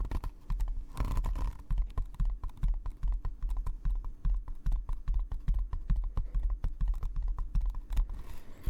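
Fingers tap rapidly and unevenly across the leather-wrapped cover of a first hand-bound book, with some scratching mixed in. The taps are dull, low, and very short, with almost no high brightness. A brief scratchy rustle comes just before the end.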